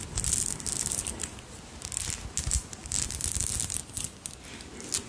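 A long strand of small, solid, pale pinkish pearl beads is held up in both hands, run through the fingers, and scratched and rubbed with long nails. The beads click against each other in quick, bright, crinkly bursts of scraping and clicking.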